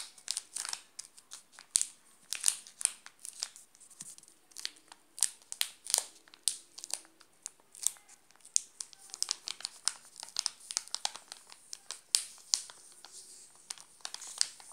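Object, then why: Plastic chocolate bar wrapper. A sealed, full Alpino chocolate bar in a glossy plastic wrapper is pressed by a hand while fingertips crinkle the wrapper. The result is a dense run of quick, sharp, bright crackles and rustles with almost no low end. Each snap dies away almost instantly.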